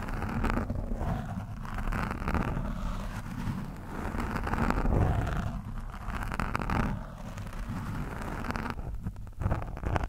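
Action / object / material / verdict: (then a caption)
scrape / foam microphone windscreen scraped with a steel screwdriver shaft / foam / none. The thin steel shaft of a screwdriver scratches and pokes an orange foam windscreen on a microphone, its soft, porous surface giving a steady, dense rumbling crackle. The sound is heavy and low, with little brightness, and swells to its loudest about midway before settling back into continuous scratching.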